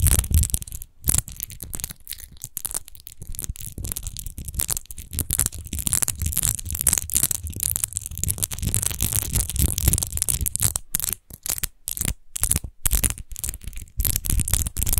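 Long nails scratch fast over the rose-textured base of a large, hollow, clear glass rose-shaped wine bottle that appears empty. A dense, crackling scrape fills the clip with bright hiss up top and a dull low rumble underneath, broken by brief silent gaps as the strokes pause.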